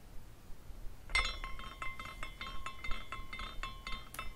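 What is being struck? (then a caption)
Small glass carousel figurine. A hand spins a small glass carousel figurine, and its glass horses swing and clink together. Light, irregular glass tinkles follow one another, each with a thin, bright ring that lingers faintly over a quiet background.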